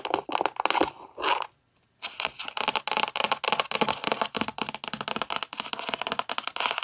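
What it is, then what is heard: Paperback book. A thick paperback book with a paper cover is held up while long nails scratch and tap its cover and spine. Dense, crisp scratching and quick dry taps with a bright, papery crackle and almost no low end. There is a brief pause just before the two-second mark.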